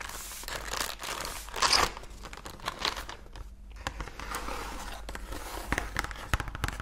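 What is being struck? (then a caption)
Printed cardboard biscuit box. Long nails tap and scratch the printed surface of a medium cardboard Oreo cookie box, apparently full of cookies and held in both hands. Dry crinkling, scratchy rasps and quick clicking taps come through, with a louder bright scrape near the middle.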